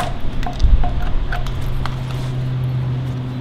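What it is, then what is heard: Wooden log being debarked. A gloved hand pushes a steel chisel along a large, solid, partly debarked log resting on sawhorses, scraping the bark off. The sound is a low, rumbling scrape with short crackling ticks, over a steady low hum that carries on as the scraping fades.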